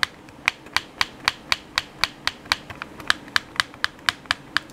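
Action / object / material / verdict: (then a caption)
tap / plastic game controller / plastic / none. Thumbs and fingertips click the buttons of a hollow black plastic PS4 controller. Nineteen short, crisp, bright clicks arrive at a steady pace of about four per second, each with no ring, over a quiet background.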